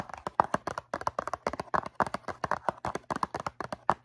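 Long nails tap quickly across the faces of a medium-size, hollow, blue cardboard Q-tips box filled with cotton swabs. About 26 short, dry, papery clicks fall in uneven clusters, centered in the midrange with almost no low end. Each tap dies away at once without ringing.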